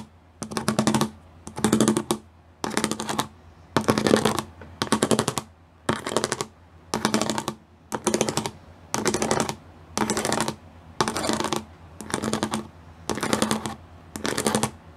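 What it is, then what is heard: Plastic studded sheet. Fingers with long nails tap fast across the pyramid studs of a flat gray plastic studded sheet. The sound is dense, crisp clicking in short bursts, each about half a second long, repeating roughly once per second with brief quiet gaps between them.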